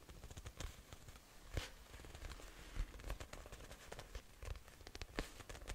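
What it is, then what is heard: Faux leather notebook cover. Long nails from both hands tap and scratch the cover of a closed, book-sized, solid brown faux leather notebook. The result is quiet, irregular tapping with soft low thuds, interspersed with dry, bright scratchy crackles that fade almost instantly.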